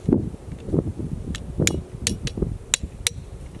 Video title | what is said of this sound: How to make Maple Syrup 🍁 - Part 1 - Tapping | You want to hear it kind of deaden out. Here it's like a little springy right now.